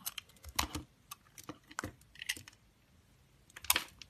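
A cream-colored solid soap bar, held in hand, is cut and shaved with a yellow-handled utility knife. Short, crisp, bright clicking and scraping cuts come in a quick, uneven series, each dying away almost at once. After a quiet pause, a louder final cluster of shaving scrapes follows.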